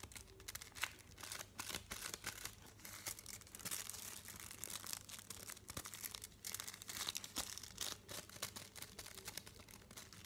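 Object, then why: Chocolate bar in paper wrapper. A flat, solid chocolate bar in a printed paper wrapper is held in both hands while fingernails tap quickly across its front and edges. The result is a quiet, steady stream of crisp, bright clicks with a papery crinkle and no lingering ring.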